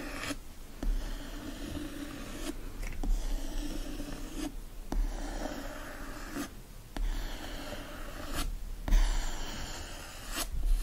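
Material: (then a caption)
Board and paper. Fingernails scratch and trace the textured printed cover of a yellow hardcover book with a green foil design, lying flat and solid. A soft, continuous scratchy rasp with a low rumble is heard, broken by six louder scraping strokes.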